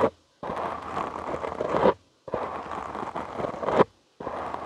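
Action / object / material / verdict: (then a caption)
scrape / foam microphone windscreen / foam / none. Short nails and fingertips scratch a soft, porous black foam windscreen on a studio microphone, producing long bursts of dense, rustling, crackly scraping separated by short silences. The sound sits mostly in the low-mid range with a faint bright hiss, and each burst swells to a louder scratch just before it stops.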